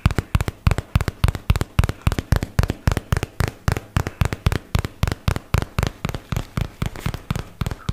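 A white and teal paperboard product box, held upright, is tapped on its side with fingertips and nails, making a fast, slightly uneven run of 38 crisp, crackly taps. Each tap is short and dry with almost no ring, carrying a dull low thump under a light bright crackle.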